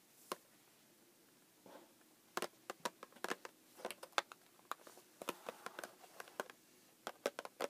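Long painted acrylic nails tap on the top and side of a small, closed, pink printed cardboard Pocky box that lies flat on a wooden desk; the box is hollow and appears full. After a quiet start, an irregular series of short, dry, bright clicks follows, some in quick clusters, each dying away almost at once.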